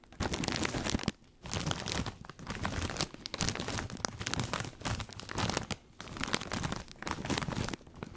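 A full plastic snack bag of corn rings is crinkled and squeezed by both hands beside the mic. Dense, bright crackling and crunching rustles come in bursts, broken by a few short pauses, with a low rumble underneath.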